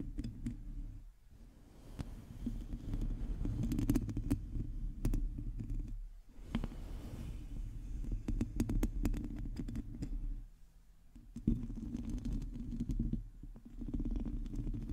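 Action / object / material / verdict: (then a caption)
scrape / metal mesh microphone grille / metal mesh / none. Long teal acrylic nails scratch the hollow metal mesh grille of a black microphone, producing a dense, boomy low rumble with rapid, irregular scraping clicks and faint crackles. The scratching runs continuously, with brief quieter gaps around 1, 6, 10.5 and 13 seconds.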